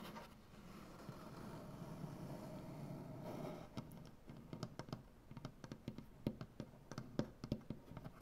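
Long dark-painted nails scratch a solid light wood butcher block tabletop in a steady, soft rasp for the first few seconds. They then switch to a series of sharp, dry taps with a brief high click at each strike. The sound is quiet and close, with a low woody body and little ring.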